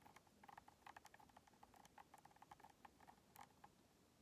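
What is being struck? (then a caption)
Plastic game controller. Long nails tap the thumbstick grips and face of a white, hollow plastic Xbox controller. They make a quick, irregular run of about nineteen soft, dry clicks with a hollow ring around 800 Hz and very short decay. The clicks sit over a faint, steady hiss.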